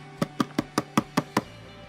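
Seven evenly spaced fingernail taps on the glass panel of an HP Envy laptop, each a short, dry click with a body near 220 Hz and a faint bright edge. The taps die away almost instantly, so the glass sounds oddly dull, more like plastic than glass.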